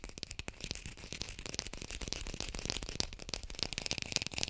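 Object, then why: Artificial lemon, plastic or foam. A small artificial lemon, probably plastic or foam, is held in both hands and fast-tapped with long pink nails. The result is a dense, continuous run of quick, dry clicks with a bright, crisp edge and almost no ring after each tap.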